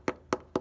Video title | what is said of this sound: Frame Rust Hammer Test: 1985 Toyota Pickup Truck 4wd | that doesn't even sound right ... it sounds hollow